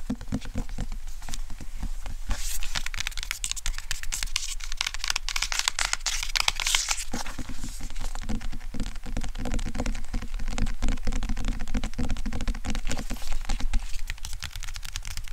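Fingertips and nails tap and scratch the glossy paper cover of a JoJo's Bizarre Adventure manga volume with a thick paper block, held upright in front of the chest. A dense, continuous stream of quick, dry taps and crinkly scratches plays over a steady low hum, with brighter, hissier scratching around the middle of the clip.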